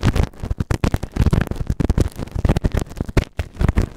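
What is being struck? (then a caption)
Silicone ear-shaped microphone scraped with a plastic spatula. A white plastic spatula held in the fingers scrapes and scratches inside the ear canal of a grey moulded silicone ear-shaped binaural microphone, solid and set on a round base. It produces a dense run of quick, muffled scratching bursts heavy in low rumble, with very little bright edge and almost no ring between strokes.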